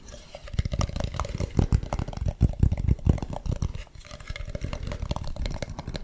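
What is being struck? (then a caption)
Carved wooden mask. Fingernails scratch and tap the ribbed, painted surface of a hollow carved wooden mask held close to the microphone. Dense, rapid clusters of short, dry taps and scratchy rasps come through with a deep, hollow, bassy body that dies away almost instantly after each hit.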